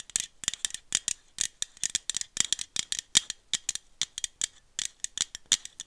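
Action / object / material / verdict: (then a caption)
tap / small aluminum drink bottle / aluminum / none. Long nails tap a small aluminum iced-coffee bottle with a printed label, and the bottle is shaken near the mic. The result is a rapid, steady run of sharp, bright, high clicks that rattle and die away almost instantly, with almost no low end.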